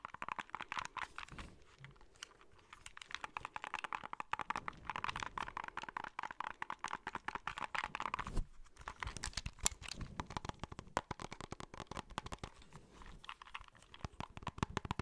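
A small white plastic handheld game console is turned from back to front while fingertips tap its plastic shell and click its buttons. Dense, quick, dry clicks and taps with almost no ring, plus faint handling rustle between them.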